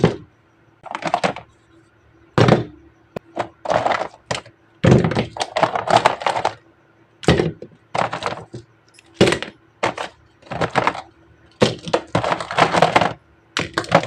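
Miniature jungle animal figures are tapped in a steady series of short, dull knocks and clicks, coming in quick flurries separated by brief silences. Each tap dies away almost at once, with a faint low hum running underneath throughout.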